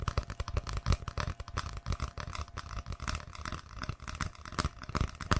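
An empty, hollow brown cardboard tube about 20 cm long is held upright beside the microphone and tapped and scratched with long painted fingernails. Rapid, irregular taps land as dull, low, hollow knocks that die away almost instantly, mixed with dry, scratchy brushing along the tube's surface.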